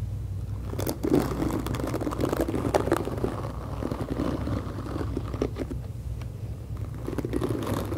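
Long acrylic nails scratch and tap across the black plastic bristles of a hand-sized, hollow-backed pink plastic detangling brush held near the mic. The result is a steady, dense crunchy crackle and scraping, weighted toward low and mid tones, with occasional brighter taps poking through.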